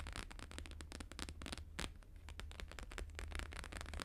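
Fast fingertip and nail tapping with both hands on a thin, flexible, flat square sheet of plastic-laminated holographic paper lying on a fur rug. Rapid, dense crackly taps with bright clicks ride over a steady low hum throughout.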